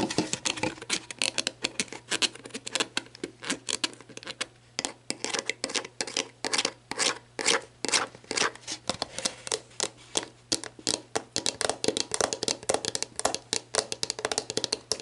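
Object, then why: Plastic drink bottle. Long black nails tap rapidly on the orange cap and body of an empty, hollow clear plastic sports drink bottle. The result is a dense stream of short, bright, clicky plastic taps with very little ring, over a faint steady low hum.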